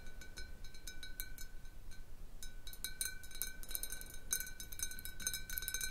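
Long nails tap the sides and near the base of a large clear glass jar partly filled with water, making quick, irregular bright clinks with short ringing tones. The taps cluster more densely toward the end over a low, steady background rumble.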